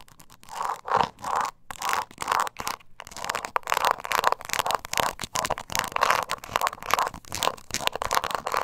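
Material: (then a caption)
Leather. Long nails scratch the scaly sides of a small, hollow, glossy croc-embossed leather coin purse with a metal kiss-lock frame and handle, held in the hand. The result is a rapid series of dry, rasping scrape strokes centered in the midrange around 1 kHz, with little low end. Some strokes are short and quick, others longer and denser, with brief pauses between bursts.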